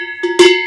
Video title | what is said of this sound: Les quatre sonnailles provençales | déjà beaucoup plus sombre qui va calmer le troupeau